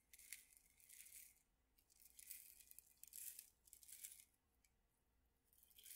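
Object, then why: Small metal tin holding small dried pieces. A small cylindrical metal tin with a paper label and a clear window lid, full of small dried pieces of food, is tilted and shaken in the hands and tapped with the fingertips. The contents give bright, dry rattling in several swelling bursts with quieter gaps between them. There is almost no low end.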